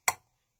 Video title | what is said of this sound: Silverware knife handle cremation pendant - Flatwearable Artisan Jewelry | there's no resonance to it. It's just kind of a dull thud.